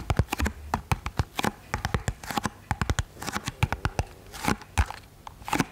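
Long painted nails tap rapidly on a small, hollow, rectangular pink printed cardboard box held up close to the microphone. Each tap is a quick, dry click with a low, hollow thump beneath a bright tick, dying away almost instantly. The taps come in uneven bursts and clusters throughout.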